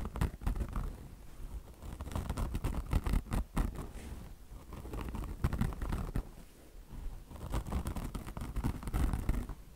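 Long blue-painted nails of both hands scratch a soft, padded beige peanut-shaped car wash sponge with a polyester mesh top over foam and a chenille microfiber fringe. The result is a dense, continuous run of quick, dry scratching and rustling strokes, heavy in low, muffled thuds, that swells and fades throughout.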